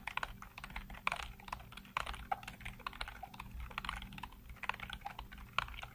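Fingertips rapidly tap and type on a full-size black plastic computer keyboard with hollow keycaps. The result is a fast, steady clatter of short, dry plastic clicks that stop instantly, some keystrokes landing louder and brighter than others, over a faint low hum.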